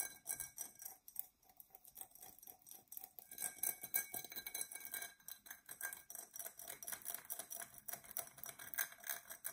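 A dark, textured Coca-Cola drinking glass, hollow and apparently empty, is held in both hands while long nails scratch across its raised pattern. The result is a rapid, uneven run of quiet, bright scratching strokes with sharp ticking edges and almost no low end. Each stroke dies away quickly.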